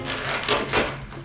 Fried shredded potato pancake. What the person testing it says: Listen how crispy it is